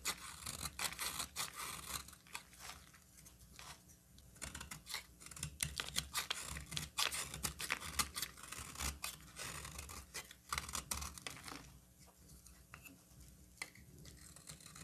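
A solid green bar of soap held in the hand is cut into shavings with a utility knife. Dense, rapid, bright crisp scraping and shaving strokes come in close succession, with short quieter pauses between bursts of cutting.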